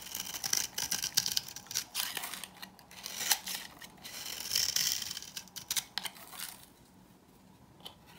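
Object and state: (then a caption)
Dry bar soap. A metal knife blade with a green handle scrapes along an old, dry green bar of soap held in the hand, shaving thin curls off its surface. The scraping comes as a quick, irregular series of dry, crisp, bright strokes with almost no low end. The strokes thin out and the sound turns quiet in the last second or so.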